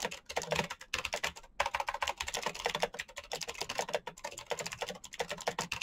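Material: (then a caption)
Plastic. Fingertips type fast on a full-size black plastic Razer mechanical keyboard with clicky green switches and RGB backlight. Dense, bright clicks rattle out in quick runs, broken by short pauses near the start. Each keystroke is crisp and dies away almost instantly.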